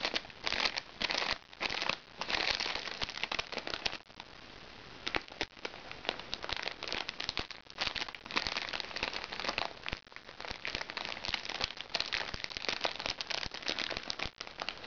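Fingernails scratch the surface of a small, crinkly recycled plastic makeup bag, producing a dense run of bright crinkling and crackling with almost no low end. The rustling comes in quick, irregular bursts that briefly ease into a softer, hissy scratch before picking back up.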